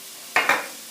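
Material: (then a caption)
Bread. Two quick taps on hot cross buns fresh from 17 minutes in the oven give short, hollow knocks with a bright mid-high tone and almost no low end. The hollow sound shows the buns are cooked through.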